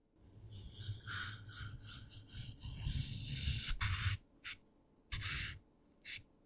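A thin pen-like stick pokes and scratches into the top face of a palm-sized, solid green-grey floral foam brick (phenolic foam) lying on a dark surface, carving holes and grooves and leaving crumbly dust. A steady, bright, crunchy rasp with a low rumble beneath runs for about four seconds, then three short, separate scratches follow with quiet gaps between them.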